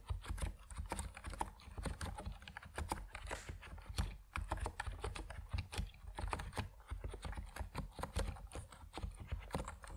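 Fast fingertip typing on a compact plastic Epomaker NiZ Plum Atom 68 mechanical keyboard with white and purple PBT keycaps. Dense, rapid keystrokes land as short, dry clacks with a deep low-end body and very little ring after each press.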